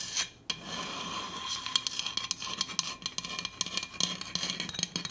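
Long acrylic nails scratch and tap the red powder-coated body of a large, hollow stainless steel insulated Hydro Flask water bottle with a black plastic lid, held upright. Many quick, bright clicks ring out over a steady high scratching hiss, with a short silence near the start.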